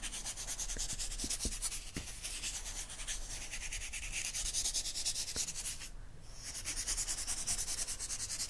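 A makeup-style brush with a wooden handle is swept and rubbed across a photo spread in an open magazine with thin glossy paper pages lying flat on a fluffy rug. Quick, bright, airy brushing strokes hiss in a loose, rapid rhythm, with a few soft low bumps. The strokes briefly drop away near the end before resuming.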